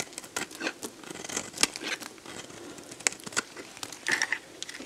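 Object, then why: Bar of soap cut with a blade. A box-cutter blade carves and scrapes a solid, dried red bar of soap held in the hand, breaking off crunchy flakes. The sound is a quiet, dry run of bright crackling crunches and scrapes with almost no low end, and each crunch stops short with no ring.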